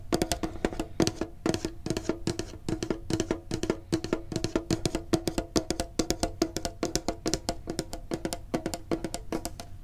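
A medium-sized hollow printed metal Pokemon card tin is held and tapped with the fingertips and short nails. The result is a quick, uneven stream of short, dry metallic taps, each with a brief hollow ring around 324 Hz and a faint bright click on top.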